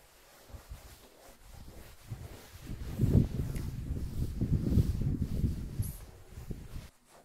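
A small traditional red patterned wool pile rug lies flat on the floor, covered in soapy foam, and is scrubbed with a stiff-bristled brush on a long yellow handle. The wet scrub and rub strokes make low, muffled swishing sounds. They start soft, build to steady scrubbing in the middle, then fade out.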